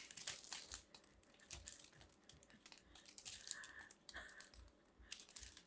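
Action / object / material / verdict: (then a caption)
scrape / grated-soap ball scraped with a metal blade / soap / none. A solid pink grated-soap ball held in the hand is carved and scraped with a metal blade, its pieces crumbling away. The sound is a quiet, dense run of crisp, bright scraping and crackling crumbles, with faint low thumps under it.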